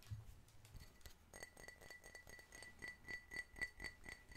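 An empty, clear, medium-sized hollow drinking glass, held in both hands, is tapped quickly with fingertips and nails. The result is a fast run of light clinks with a short, bright ring near 2 kHz, plus a low, dull thump at the start.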